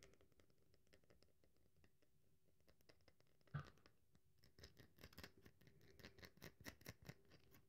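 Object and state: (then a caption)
Dry bar of soap. Long nails scratch the surface of a solid, dry bar of soap held in the hand, making quiet, crackly scratching with many tiny dry clicks. One sharper snap stands out midway, and then the scratching grows denser and slightly louder toward the end.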